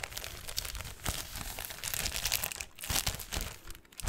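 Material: Metallic foil.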